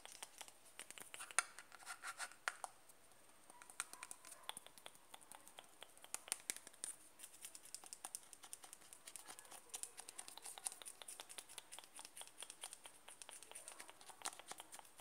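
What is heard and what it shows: Fingernails scratch and tap the side of a closed white plastic cream jar held in the hand. Quiet, bright, dry scratching runs throughout, punctuated by dense, rapid, short clicking taps that die away almost instantly.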